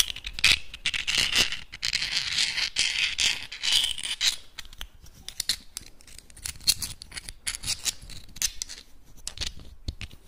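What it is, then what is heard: Clam shells clicked and rubbed. Small, hard, hollow clam shells are held close in both hands, rubbed and clicked against each other and scratched with the fingertips. For the first four or so seconds there is a dense, bright scraping rasp. It then thins into sparser, sharp, dry clicks and scratches with almost no ring.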